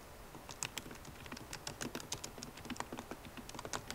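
A MacBook Pro laptop keyboard, with plastic keycaps in an aluminum body, is typed on with long nails and fingertips. A steady, quiet run of quick, dry taps and bright clicks comes through, each dying away almost instantly.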